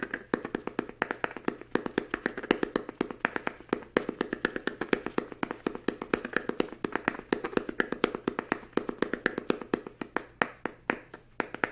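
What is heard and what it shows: A small, solid hardcover book with a green patterned fabric cover is held in both hands while fingertips tap rapidly on its cover and edges. The result is a fast, uneven stream of short, dry, mid-pitched taps that die away almost instantly.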